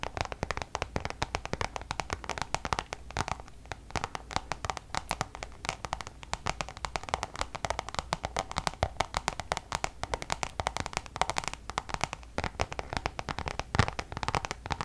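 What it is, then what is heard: Coated canvas pouch. Long nails tap quickly on a Louis Vuitton coated-canvas zip pouch held close to the mic, producing a dense, rapid run of sharp, dry clicks with very short decay. Some light scratching mixes in over a faint low hum.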